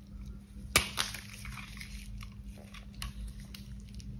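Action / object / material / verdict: scrape / bar of soap / soap / none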